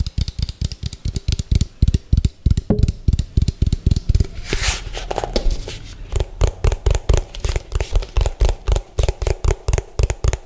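Fingertips and nails tap rapidly on the ridged base of an orange hollow plastic food container, which is turned to show its bottom. The taps are quick, dull, low-pitched knocks with very short decay and faint bright clicks from the nails. Midway, a brief rustling scrape sounds before the fast tapping resumes.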